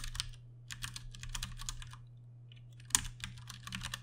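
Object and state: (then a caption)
Plastic mechanical keyboard. Fingertips of both hands type continuously on a Ducky One 2 Mini, a compact mechanical keyboard with Cherry MX Brown switches and plastic keycaps. Bursts of bright, clicky keystrokes come in quick runs with short pauses, over a steady low hum, with one sharper, louder key strike near the three-second mark.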